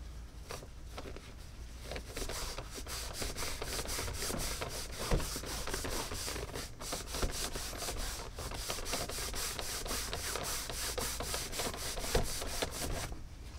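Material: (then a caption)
Leather. A Tecovas caiman leather cowboy boot is buffed with a cotton cloth strip held in both hands. Quick, steady back-and-forth rubbing strokes make bright, swishing friction sounds over a low rumble. The strokes keep an even rhythm throughout, with a few slightly sharper slaps along the way.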